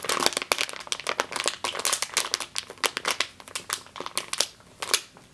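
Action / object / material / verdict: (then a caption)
scrape / plastic bag filled with flour / plastic / none. Long green nails squeeze and scratch a medium clear plastic bag with a yellow label, full of flour or grain, resting on a table. A dense run of sharp, dry crinkles and crackles comes and goes in quick bursts, bright and hissy with no low end and almost no ring after each one.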